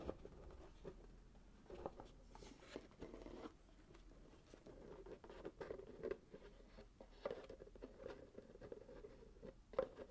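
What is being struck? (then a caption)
Small paper-wrapped cardboard box. Fingertips and short nails scratch and tap a small, closed, hollow cardboard box wrapped in gold glitter-striped paper with a satin ribbon, first while it lies flat on a table and then while it is held in both hands. The result is quiet, steady scratching and papery crinkling with soft, hollow, mid-toned taps that die away almost instantly.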